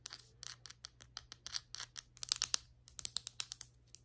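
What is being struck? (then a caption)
Glazed ceramic floor tile. Very long white acrylic nails tap and scratch across large, solid glazed ceramic floor tiles with grout lines. The result is a quick, irregular run of sharp, bright clicks and short scratchy strokes that stop dead with no ring, over a faint steady low hum.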